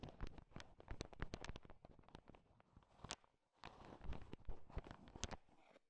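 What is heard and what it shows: A thin wooden stick stirs and taps through a heap of small, hard, sugar-shelled peanut M&Ms filling a bowl, mixing them. Quick, dry clicks and rattles crowd together in irregular bursts, with a brief quieter gap midway before the stirring picks up again.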